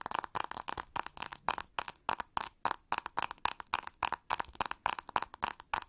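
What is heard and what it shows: Long nails scratch and tap the textured plastic back and ribbed handle of a pink plastic hair brush. The sound is a rapid, uneven series of short, dry scraping and clicking bursts with a bright, hissy high end and almost no low rumble. Each burst stops dead with no ring.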